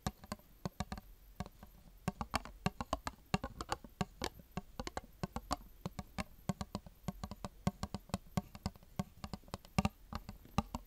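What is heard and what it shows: A small, round, empty clear plastic tub held in the hands is tapped and scratched with long dark-painted fingernails. A rapid, uneven stream of dozens of short, dry clicks with a hollow low knock rings out. Each tap dies away almost instantly, with faint scratching between them.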